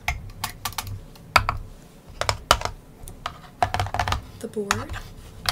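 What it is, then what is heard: Cardboard game board with plastic pieces. Long painted nails and fingertips tap and scratch across a large, flat, folded printed paperboard 1960 Milton Bradley Game of Life board lying on a table, with small plastic buildings and hills attached. A quick series of sharp, dry clicks and short scratches comes through, each dying away almost instantly over a low background hum.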